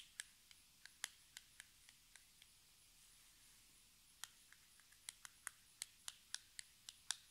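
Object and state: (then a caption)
Cardboard cosmetic box tapped with fingernails. Long red nails tap and scratch a small, hollow, metallic-pink cardboard cosmetic box standing on a table. Quiet, bright, dry clicks come in a slow series. They pause for about two seconds midway, then resume at a slightly quicker pace.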